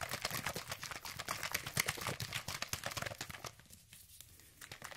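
A hand-sized, hollow orange plastic sunscreen spray bottle containing liquid is held in the fingers and shaken rapidly close to the microphone. It makes a fast, dense stream of bright, crinkly plastic ticks and liquid sloshes. The shaking eases and quiets near the end, then picks up again briefly.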